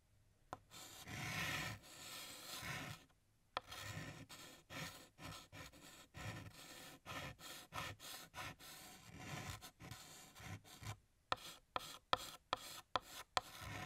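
Fingertips hold a blue chalk stick and draw a music note on a large, flat, solid black chalkboard. A long rubbing scrape gives way to a run of short, rasping strokes with a bright, gritty hiss, and the clip ends with several sharp, quick chalk taps.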